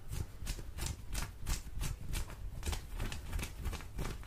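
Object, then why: Cotton denim jeans. Long orange fingernails on both hands scratch soft blue cotton denim jeans that are held out. Repeated, fairly irregular scratching strokes are heard, each a brief broadband rasp over a dull low thump, at about three per second. Faint mouth sounds may be mixed in.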